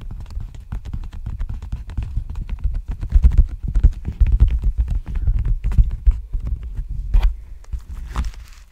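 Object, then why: Padded plastic bubble envelope. An empty, large black plastic padded bubble mailer with a textured plastic surface is held sideways and tapped and scratched with fingertips and nails. The result is a dense, continuous run of soft, dull, low thumps and crinkly scratches, with a few sharper, brighter taps near the end.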